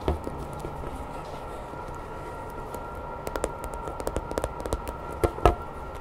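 A grey hollow vinyl Godzilla toy figure is held in both hands while long nails tap and scratch its body, tail and spines. Soft, short scratching sits over a steady low hum, then a run of quick, dry taps follows, ending with a couple of louder knocks near the end.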